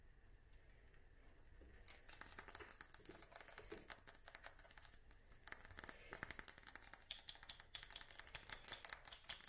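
Long manicured nails tap and scratch a small dark amber glass spray bottle with a paper label and black pump top, held in the hand. After a faint, quiet start, a dense run of soft, bright, irregular clicks and scratchy ticks begins, with a thin high glassy ring and almost no low end.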